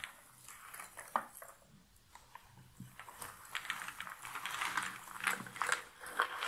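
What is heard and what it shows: Cardboard jigsaw puzzle pieces piled in a box lid are scratched through by both hands with long nails, then rubbed over flat-handed. The result is dry, irregular rustling and crisp clicking with bright, papery highs and almost no low end. It grows denser and louder toward the end.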